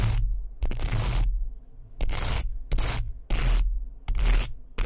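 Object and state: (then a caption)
Wooden hairbrush. A small, solid, light wooden hairbrush with bristles is held close to the mic while fingertips and nails rub and scratch across its bristles and wooden body. Seven bright, hissy scratching bursts are heard, each separated by short pauses, over a steady low rumble.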